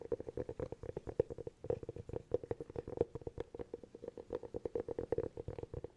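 Fingernails tap rapidly and steadily on a hollow cork object, making a stream of short, dry, hollow clicks with a muted mid-pitched tone around 470 Hz. Each tap dies away almost instantly, with no ringing.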